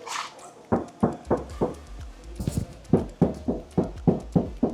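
A car door panel without soundproofing is knocked on repeatedly in a quick series, producing short, low, hollow thuds with little ring. The door sounds empty and hollow.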